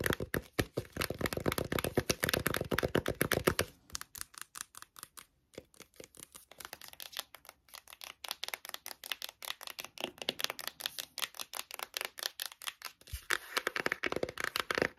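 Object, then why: Cardboard eyeshadow palette. Long nails rapidly tap and scratch the cover of a closed, flat, dark, glossy printed cardboard eyeshadow palette. Fast, loud, bright scratchy clicks fill the first few seconds, then soften into quieter, sparser dry taps after a brief pause, before loud scratching returns near the end.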